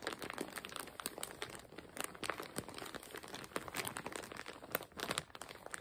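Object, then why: Plastic zip-lock bag with fabric inside. A clear plastic zip-lock bag, stuffed full with patterned fabric, is crinkled by fingers gripping its plastic edge and squeezing the bag. The result is a steady stream of dense, crackling crinkles with many quick bright snaps and almost no low end.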